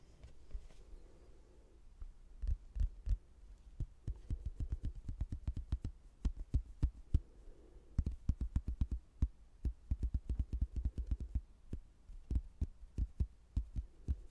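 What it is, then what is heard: Cork-backed hardboard placemat. A thin, solid laminated hardboard placemat with a cork back and a castle print is held in both hands while fingertips tap and scratch its glossy front and edges. Many short, dull, low thuds land in quick irregular bursts, with a soft scratching hiss between them and almost no ring.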